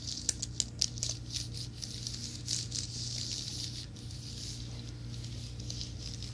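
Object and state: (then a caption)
Plastic and aluminum keyboard. Fingertips and nails tap and scratch the keys of a slim white plastic and aluminum wireless keyboard, held flat and then upright. A few sharp, bright clicks open the clip, giving way to a soft, continuous high scratching and brushing texture over a steady low hum.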